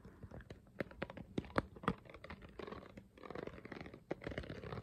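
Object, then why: Ridged plastic water bottle. Long fingernails scratch along the ridges of a clear, hollow, ridged plastic water bottle held in hand, its contents not clearly visible. Quiet crinkly rasping is punctuated by sharper plasticky clicks and crunches. It gives way to a denser, steady scratching texture toward the end.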